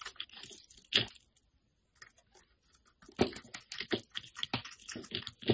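A solid green rectangular bar of soap, its surface scored with lines by a blade, is held in the fingers and scraped, leaving powdery residue. Dry, crisp scraping and crumbling crackles come in irregular bursts, with a brief silent gap near the middle. The sound is bright and close, with very little ring.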